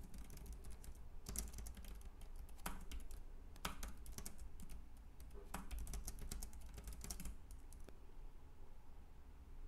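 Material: Plastic.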